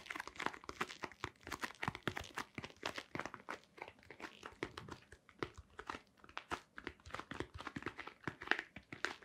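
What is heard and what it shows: A hollow white cardboard box, held in both hands, is tapped and scratched with long nails and fingertips. It makes a quiet, rapid, uneven stream of dry, crisp clicks and crinkly scratches with bright edges and almost no ring.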